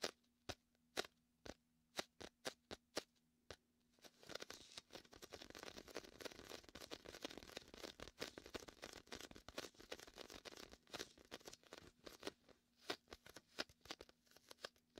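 Fingertips rub and peel on the sticky surface of a large red and white inflatable PVC beach ball, hollow and air-filled. Sharp, separate sticky clicks and pops start the clip, then give way to a dense, crackling run of bright peeling and scratching sounds. Near the end the sound thins back out to spaced clicks over a faint low hum.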